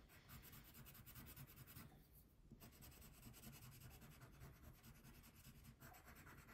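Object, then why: Wax crayon on thin paper over a wooden table. A brown wax crayon, held in the fingertips, colors a thin printed paper coloring page lying flat on a wooden table with steady back-and-forth rubbing strokes. The result is a soft, continuous waxy scratching with a bright papery hiss over a low, dull rumble. The stroke briefly lightens around the two-second mark before resuming.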